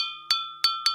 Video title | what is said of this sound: 【人間国宝】角谷家の伝える技 〜祖父・叔父・父から引き継ぐ“鉄の系譜”〜 | 土が落ちるにつれ、釜を叩く音が澄んだ音色になってきました。釜の内部に傷がなく、鋳込みがうまくいった証拠です